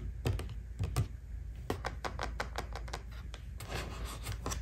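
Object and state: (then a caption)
Cardboard cosmetic box. Long painted fingernails repeatedly tap the top face of a small, flat, black printed cardboard Bobbi Brown highlighting powder box, closed and likely holding the compact, as it lies on a white table. About 18 quick, irregular taps sound as sharp, dry clicks with a bright edge that die away almost at once over a steady low hum.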